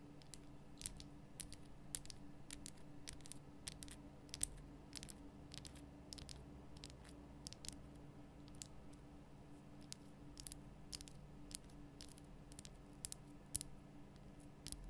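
Long fingernails tap the top and lower sides of a large, lit pink Himalayan rock-salt lamp, a solid rough crystal block. Quick, dry, bright clicks come in irregular clusters throughout, each dying away almost instantly, over a steady low hum.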